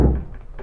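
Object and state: Resonant unbraced wooden speaker box.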